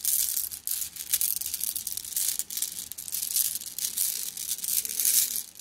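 A plastic mesh bag of flat blue glass gems is squeezed and kneaded by hand, so the gems clink against each other. The result is a dense, continuous run of bright, crisp clicks and rattles with almost no low end, swelling and easing as the bag is worked.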